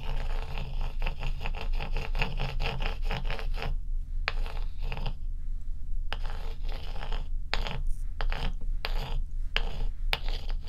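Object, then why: Large ice block scraped with a small ice piece. A small ice piece, held in fingers with long acrylic nails, is scraped and rubbed across the frosty surface of a large, solid, dome-shaped ice block lying on a dark towel. It makes a steady run of quick, rasping scrapes over a deep low rumble, with brief pauses in between.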